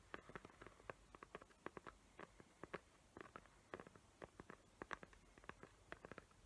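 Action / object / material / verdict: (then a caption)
tap / cardboard gift box with glitter paper / cardboard / none. Long nails tap and scratch the glittery lid of a small square cardboard gift box covered in glitter paper with raised hot-glue tree outlines. The result is a quiet, rapid string of short, dry clicks and scratchy patters centered in the mid range, with little low end and almost no ring after each touch.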